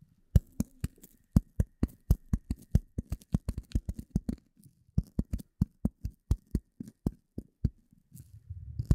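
A rectangular gray polyethylene foam sheet, held in front of a microphone, is tapped and scratched with the fingertips and nails of both hands. About 39 short, dry, low thuds with bright clicky tops come in quick uneven runs, separated by soft scratchy rustling. The clip ends in a louder, rumbling scratch.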